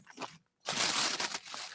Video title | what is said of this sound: Winter Storm Fern aka Winter Storm Benjamin. 01-25-2026 | if I step on it, it almost sounds like glass